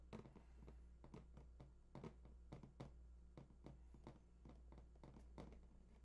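Fingertips tap rapidly on the front face of a large printed cardboard PS4 box lying flat, near the controller picture. The hollow box gives a quick run of soft, dull, low thuds that die away almost at once, over a steady low hum.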